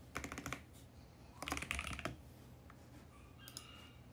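A compact VGN X68 mechanical keyboard with plastic keycaps and a mint case is typed on with fingertips across the keys, including the left modifier keys. Two quick bursts of clacky keystrokes are heard, one near the start and one in the middle, with a low hum and quiet gaps in between.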